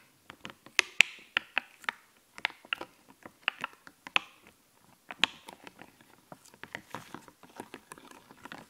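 Fingertips and nails tap and scratch a flat sheet of raised, glittery, puffy plastic fashion stickers on a clear backing. The result is a quick, irregular run of crisp, bright clicks mixed with short scratchy rasps, each dying away instantly with no ring and almost no low end.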